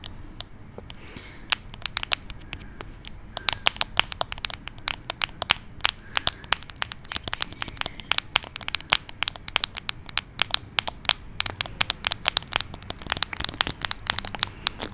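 Fingertips and nails tap and scratch a small glass perfume bottle with a dark cap, held at the top of a microphone. The result is a steady, rapid run of short, bright clicks and ticks over a soft, faint background hiss, with each tap dying away almost instantly.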